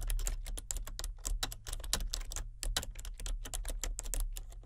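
Fingertips of both hands type continuously on a solid, full-size plastic membrane computer keyboard with a colour-changing backlight. A steady stream of short, soft clicks has bright tops and decays quickly, over a constant low hum.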